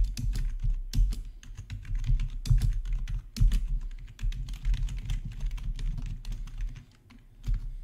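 Two hands type with their fingertips on a black plastic RGB backlit gaming keyboard resting on a marble surface. Quick, continuous key presses produce short, dry clicks, each with a deep low thump and fast decay. There is a brief lull near the end before the typing picks up again.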